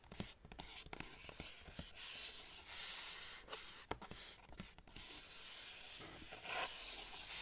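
Long painted nails scratch and tap the printed cardboard side of a black Converse shoe box with tissue paper inside, held in front of the chest. Bright, dry scratching and rubbing is broken by short, sharp taps with almost no ring.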